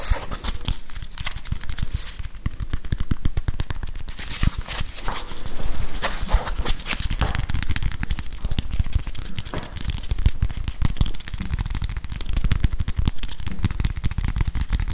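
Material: Plastic.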